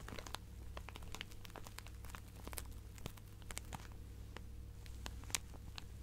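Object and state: Plastic zip bag of fabric scraps.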